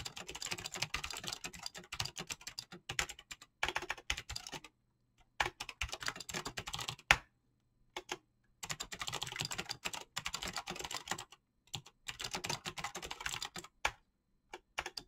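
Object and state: Mechanical keyboard with PBT keycaps.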